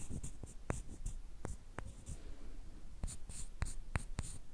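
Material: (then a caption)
Wood. One thin, flat, light wooden stick, solid and about hand length, is rubbed and scraped along a second identical stick. The result is a quiet, dry, scratchy scraping broken by short, sharp wooden clicks, with most of its energy in a low rumble and faint bright edges on the ticks.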